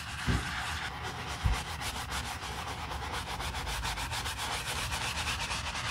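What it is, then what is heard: Leather handbag being brushed. A quilted black leather Chanel handbag resting on a towel is scrubbed with a foamy, wooden-handled bristle brush. Steady, rhythmic brushing strokes make a bright, hissing rub, with a couple of low thumps near the start.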